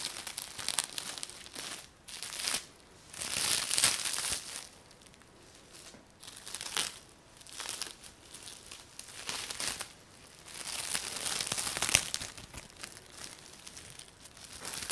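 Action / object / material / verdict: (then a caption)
scrape / thin plastic film bag / plastic / none. A thin, clear plastic bag or film laid over a person's hair is crinkled and rubbed by fingertips with short nails, giving a soft, hollow crackle. Bright, rustling crinkles come in uneven bursts that swell and fade throughout, with very little low end.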